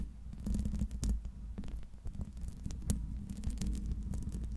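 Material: Metal mesh.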